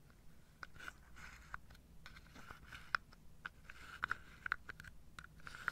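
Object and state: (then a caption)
Wooden dominoes in a wooden box. Long nails scratch and tap across the tops of wooden dominoes packed into a carved wooden domino box. Soft, dry scratching runs throughout, broken by about eleven short, sharp clicks with a woody, mid-pitched tone and almost no ring. The clicks cluster more densely toward the end.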